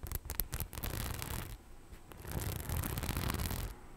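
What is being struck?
Faux leather bag with rhinestones.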